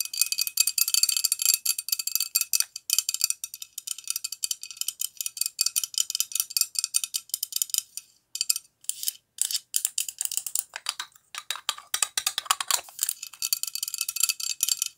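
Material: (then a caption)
Glass. A tall lava lamp with a clear glass body and red base, held in both hands, is tapped and scratched with long acrylic nails. Dense, rapid, bright clicking fills the clip, with a tone near 1.3 kHz and a brief lower scratchy stretch near the end. The clicks are sharp and dry, with almost no ring and no low end.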